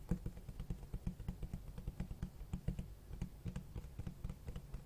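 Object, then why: Cloth-covered hardcover book. Fingertips tap and scratch the cloth-textured cover of a large black hardcover book with white page edges. The result is a quiet, steady run of about 22 short, dull, low-pitched taps with almost no ring, over a soft scratching rustle.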